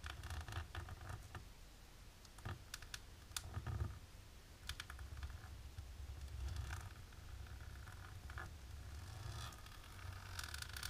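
Long natural pink-polished nails on both hands, in black lace fingerless gloves, scratch and tap a flat dark embossed plastic sheet laid on a table. Dry, crisp scratches and sharp clicking taps sound over a steady low rumble, with brief bright bursts throughout.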